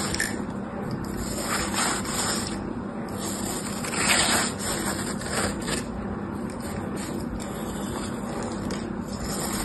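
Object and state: Dry floral foam block being scraped.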